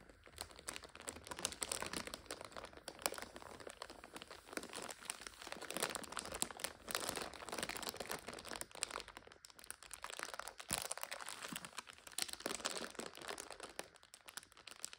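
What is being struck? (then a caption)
Instant noodle multipack in plastic overwrap. A full red and purple instant noodle multipack in plastic overwrap is scratched and squeezed by long nails. It gives off a continuous bright, dense crinkle with sharp crunchy crackles, steady at a low level throughout.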